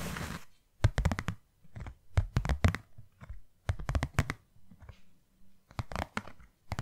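Long nails tap and scratch a small, white, hollow cardboard box, producing quick clusters of dull, low, hollow thuds mixed with dry, papery scratching. The bursts come at an irregular pace with no ring after each strike, and a brief rough scratch opens the clip.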